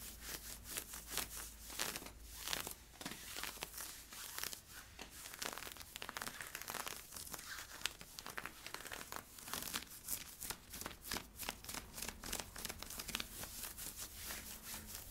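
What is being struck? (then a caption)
Polyester-spandex leggings, worn. Fingernails scratch worn camo polyester-spandex stretch leggings at the hip and waistband. The result is a dense run of fast, bright, dry scratching and crinkling strokes with no spoken words.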